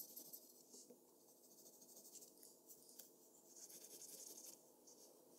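A mechanical pencil scratches short, rapid strokes over a flat white drawing paper sheet on a desk. The sound is a quiet, bright, dry scratching with almost no low end, rising and falling in small bursts throughout.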